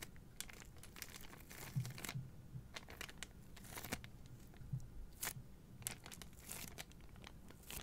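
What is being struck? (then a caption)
Cardboard boxes in clear plastic wrap. A bundle of three white cardboard deodorant boxes in clear plastic wrap is turned in the hands while long nails crinkle and rub the wrap. Soft, quiet crinkling and scratching run throughout, with occasional brighter crackling bursts over a low rumbling bed.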